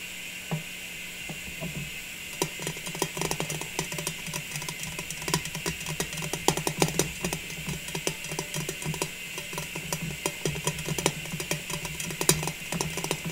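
Long nails tap and scratch across the lid and sides of a medium, hollow, round metal cookie tin with red and white stripes and a blue "joy" lid, lid on. Quick, clicky taps and bright scratching strokes come in irregular bursts, each dying away quickly. A steady low hum and a high hiss sit underneath throughout.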